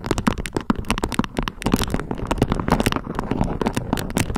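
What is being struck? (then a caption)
Beeswax-coated cotton wrap. Long nails scratch and pinch a thin beige beeswax-coated cotton food wrap draped into a peak. The crinkly, waxy fabric gives a dense run of quick, sharp crackles and crinkles with no pauses, each one short and dry, spreading from a low rustle up to bright, high edges.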